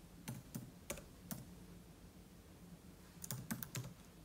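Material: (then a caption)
Plastic. Fingertips type steadily on the plastic keys of a silver aluminium laptop resting on a table, giving eight short, dry clicks with bright tops and a soft low thud. Four keystrokes come spread out early, then a pause, then a quicker cluster of four near the end.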